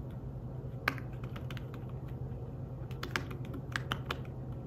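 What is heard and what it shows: Fingertips with short nails tap the keys of a slim, flat, thin fabric-covered tablet keyboard while typing. Soft, short, bright clicks come in an uneven rhythm, with a few sharper taps standing out. A steady low hum runs underneath throughout.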